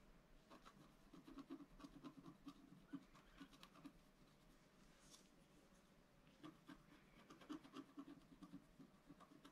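A wooden stylus scratches lines into the lower part of a black-coated scratch-art card lying flat on a table. The sound is a quiet, uneven run of short, dry scratching strokes with brief high hiss, forming two busier clusters with a calmer stretch between them.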